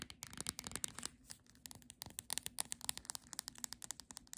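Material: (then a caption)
Paper. Long nails tap rapidly on the spine of a Monet paperback book, giving around thirty quiet, dry, bright clicks with a crisp, papery edge. Each tap dies away almost instantly, with a short pause before the taps resume and quicken.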